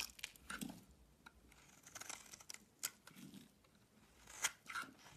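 A wide blade shaves long curls off a solid white bar of soap held in the hand. Quiet, bright, crisp scraping and crackling strokes come in uneven bursts, with a few sharper clicks standing out. Each sound stops short, with almost no low end.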